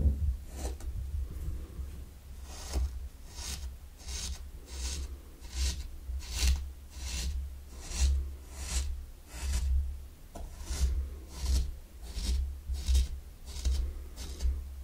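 A mini wooden rake scrapes lines into fine pink sand in a small round wooden zen garden tray, while the other hand holds the tray. Soft, bright grainy rasps repeat at an uneven pace over a steady low hum.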